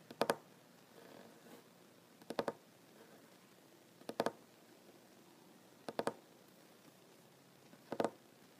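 A solid wooden tabletop is tapped with the fingertips and short nails of one hand in five quick bursts of two or three taps, spaced about two seconds apart. Each tap is a short, dry knock centred in the mid range and dies away almost at once. Between bursts there is only a faint hush.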